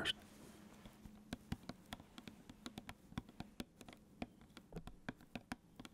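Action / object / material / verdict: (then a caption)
tap / plastic squeeze bottle / plastic / none. A large plastic squeeze bottle full of ketchup is held close and tapped on its plastic body with fingertips and nails. Light, sharp clicks and taps come in an uneven series over a faint steady low hum. Each tap dies away almost at once.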